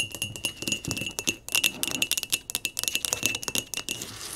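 A small, hollow, empty pot of speckled blue glazed ceramic is held in the hands and tapped and scratched with long nails on its outside and rim. Quick, bright clinks and scratchy ticks come in a rapid, uneven run, each with a short, thin ring near 2.6 kHz and almost no low end.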